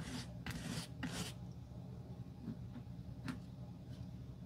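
A metal-handled glue brush spreads glue across the solid tan leather outsole of a sandal held in hand. It makes soft, bright, rasping strokes that are strongest early on, then fainter, shorter swipes over a low, steady hum.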